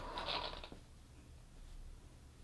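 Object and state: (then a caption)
Exercise bar with steel weights rolling inside. An ActivMotion exercise bar filled with rolling steel weights is held against the thighs during a lying leg-tap exercise. For about the first 0.7 seconds there is a bright, brief metallic rattle as the weights roll inside the tilting bar, then it fades to quiet. The rolling shows the weights are not being kept in the middle of the bar.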